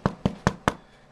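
Four quick taps on the dark golden brown crust of a second sourdough loaf, just out after 30 minutes of baking at 460 degrees Fahrenheit, give short, dull, low hollow knocks that die away almost at once. The hollow sound shows the loaf is baked through and ready.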